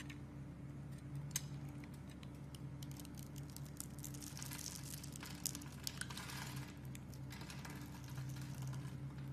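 A metal blade scrapes the top of a solid, white, hand-size bar of soap held in the hand, shaving it into crumbs. The scraping makes quiet, dry, crackly ticks and bright rasping swishes over a steady low hum.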